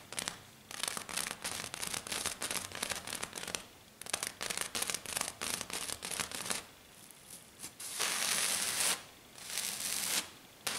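Long dark nails on both hands aggressively scratch and tap a flat silver glitter sheet, likely glitter foam. Fast, bright, crackly bursts of rasping scratches alternate with sharp taps, with a longer continuous scratch near the end. The sound is dry and high-pitched, with almost no low end.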